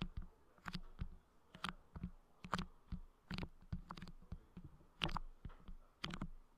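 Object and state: Putty pressed on a microphone grille.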